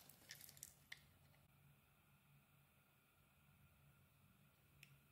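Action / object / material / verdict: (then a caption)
scrape / bar of soap shaved with a metal blade / soap / none. A snap-off metal blade shaves smooth curls from a solid, egg-shaped beige bar of soap with a purple inlay, held in the palm. A quick cluster of soft, squishy scraping cuts with a bright edge comes early, then a quiet stretch over a faint low hum, and one more light cut near the end.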